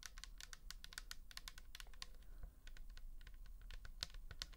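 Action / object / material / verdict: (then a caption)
tap / plastic bottle with liquid / plastic / none. Long nails tap and scratch the label of a pink plastic toner bottle filled with liquid, held close up. A quick stream of crisp, bright clicks and light scratches sits over a steady low hum, each tap dying away almost instantly.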